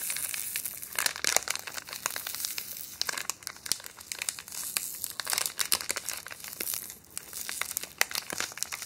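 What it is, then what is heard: Crinkling thin plastic wrapper. A small, thin, empty clear plastic wrapper or bag is held in both hands and crinkled and rubbed between the fingertips and long painted nails. It makes a steady stream of sharp, bright crinkles and crackles with no low end, rising into denser, louder bursts and easing back between them.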